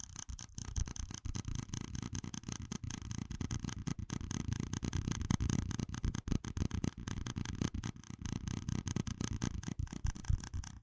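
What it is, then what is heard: Plastic cup. A small, hollow, empty red plastic cup with ribbed rings is held in one hand and tapped and rubbed with fingertips and nails. Rapid, dry, close-up taps and scratchy rubbing run continuously, each tap dying away almost at once, with a heavy low thump under a faint high rasp.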